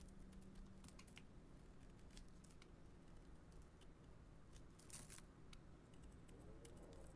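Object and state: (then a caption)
Bar soap being carved. A metal blade scrapes curled shavings off a solid yellow-beige bar of soap held in the hand. Soft, crisp scraping and crinkling ticks with bright edges sit over a quiet, steady low hum, with a slightly stronger cluster of scrapes near the five-second mark.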